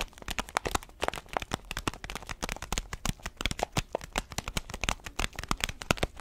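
A bean-filled orange paper-foil coffee bag is held horizontally while fingertips and nails tap and scratch its surface. The result is a dense run of sharp, dry clicks and crinkles with a bright edge and very short decay, the beans faintly rustling beneath. The taps come fast and overlapping rather than as clearly separate hits.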